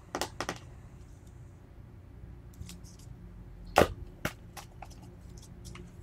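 Fingertips and short nails tap and scratch the plastic sides and lid of a small, round, translucent plastic tub with a label, filled with green slime and held in both hands. Two quick sharp taps open the clip, followed by faint bright scratches and clicks, then the loudest crisp tap and another knock near the middle before softer scratching ticks fade over a low, steady background hum.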